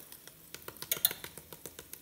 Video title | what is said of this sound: Magic Chef XL Air Fryer Review & Turkey Legs too. | You can hear how crispy that skin is.